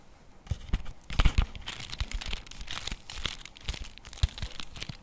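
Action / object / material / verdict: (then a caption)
tap / cardboard chocolate bar box / cardboard / none. A flat printed cardboard box for a Nero Nero dark orange chocolate bar is held in both hands while fingertips and nails tap and scratch its surface and edges. The result is a steady run of quick, dry taps with low, dull thumps, mixed with bright, papery scratching and crinkling.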